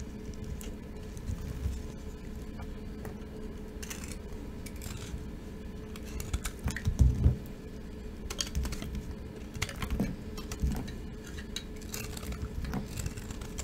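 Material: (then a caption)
Soap. A dry, solid cream soap bar with traces of green glitter, held in the palm, is repeatedly scraped and shaved with a metal knife blade into dry flakes. Quiet, irregular crunchy scraping runs throughout, with a few louder crackling bursts around the middle. The sound is mostly low and dull with short, dry attacks.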